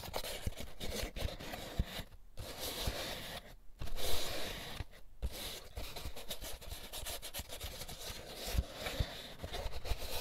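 Fingers rub and scratch the textured cups of an empty molded paper pulp egg carton, making a dry, papery scraping with a bright, hissy texture. The rustling runs steadily with a few short pauses, and soft low bumps come through as the carton is handled.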